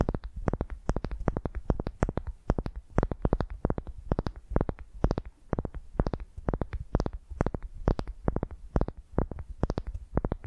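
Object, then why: Wooden ball. A solid pale wooden ball resting on a microphone is scratched with long nails. The result is a rapid, continuous series of short, dry scratching bursts with a deep, booming low end and faint bright edges.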